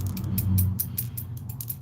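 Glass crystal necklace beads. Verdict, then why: Real. Crystal beads and rondelles on a vintage necklace are clinked together, giving a rapid run of bright, thin clicks over a low hum. The crystals sound like glass and are real crystal, while the small cat's eye beads on the strand are plasticky.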